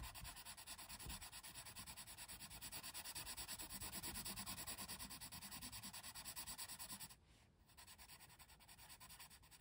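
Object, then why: Colored pencil on thin paper coloring page. A colored pencil, held by fingers with long red nails, rapidly shades and scratches over the tree area of a thin paper coloring book page. It makes a dense, bright, raspy scratching in quick, steady strokes of about three per second. Just after seven seconds the strokes briefly pause, then resume more softly.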